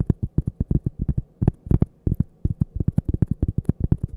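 A thin solid cork coaster, held edge-on next to the mic, is tapped and scratched with long painted fingernails. About 27 quick, dull, low thumps land in a rapid, uneven rhythm, each dry and clipped with almost no ring.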